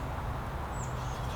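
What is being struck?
Nothing is struck.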